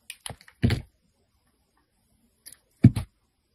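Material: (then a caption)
Soap. A metal blade scrapes and shaves the surface of a hand-held solid white Ivory soap bar. Short, dry scraping and crunching bursts with a low, thudding body come in two clusters, the longest near the start and another near the end, separated by over a second of silence.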